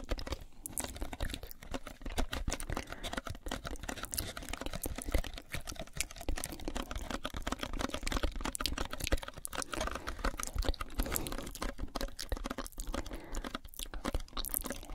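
A small, hollow white cardboard box held in both hands is tapped fast with long nails on its flat sides. The result is a steady, dense patter of short, dry clicks and soft hollow thuds, with most of the energy low and little high-end sparkle. The tapping continues without pause for the whole clip.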